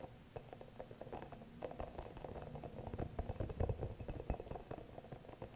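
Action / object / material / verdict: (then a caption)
tap / rubber spiky massage ball / rubber / none. Long nails tap and scratch the soft spikes of a small, green, hollow rubber spiky massage ball. The result is a quiet, irregular run of soft, muffled low taps mixed with a light scratchy rustle. The taps grow slightly louder toward the middle before easing off.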